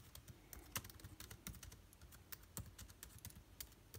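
Rapid fingertip typing with both hands on a backlit MacBook Air keyboard with plastic keys. It makes a quick, uneven stream of short, dry clicks with bright tops and a soft low thud, with a few louder key strikes standing out. Each click dies away almost instantly.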